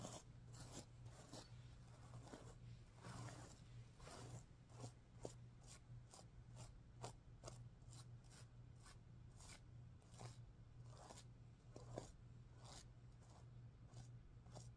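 Fingertips and nails rub and scratch across the reversible pink and green plastic sequins on the fabric of a large, soft-stuffed heart-shaped cushion, flipping them over. The result is a rapid run of short, crisp, bright scratchy swipes and faint clicks over a steady low hum, all at a quiet level.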